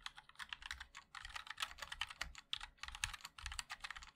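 Fingertips of both hands type continuously on a compact 60% MOD-L mechanical keyboard with a black case, white and black plastic keycaps and linear switches. About two dozen quick, bright plastic clacks land in an uneven stream, each with a faint low thud beneath and almost no ring after it.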